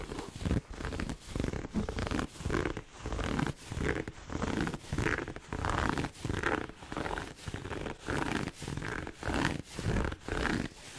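Fingernails scratch quickly across the fabric pleats of a hollow red pleated satin heart gift box held close to the mic. The result is a fast, steady run of dry, raspy scratching strokes separated by brief gaps, with a full, low-heavy body and a soft papery rasp on top.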